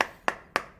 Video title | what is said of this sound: IPHONE 11 PRO MAX CUMA 1.3 JT??? KOK MURAH | diketok dibagian manapun dia bakal Suaranya kayak gitu